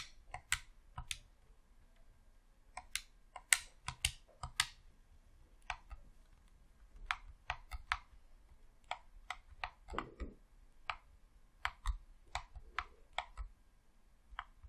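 Thumbs press the D-pad and face buttons of a hollow red plastic Xbox controller, producing a quiet, irregular series of sharp, bright, dry clicks with almost no ring. Around ten seconds, a brief lower rustle sits beneath the clicks.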